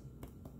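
A golden crust on a cherry and nectarine crostata with an almond paste layer, just out of the oven after about 50–55 minutes at 375°F, is tapped twice. It gives two soft, dull, low-pitched taps. The crust is baked through even over the almond paste and proves flaky when cut.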